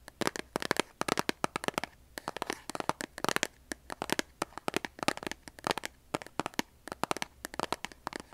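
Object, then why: Cardboard kitchen matchbox tapped with fingernails. A large, closed cardboard kitchen matchbox, likely full of matches, is held in both hands while long nails tap and scratch its printed cardboard sides. Quick, dry clicks and scratchy bursts come in rapid irregular clusters with short pauses between them. Each sound stops almost instantly, with no ring.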